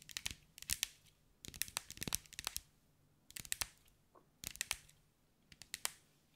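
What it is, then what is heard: Glass mosaic ball. Long white acrylic nails tap and scratch across a hand-sized sphere covered in small green mirrored glass mosaic tiles, held in the hands. Quick, bright, dry clicks come in five rapid bursts separated by short quiet pauses. Each tick dies away almost instantly, with scratchy crackling between the taps and very little low end.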